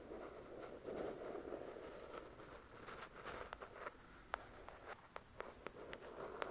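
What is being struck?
Paperback book with card cover.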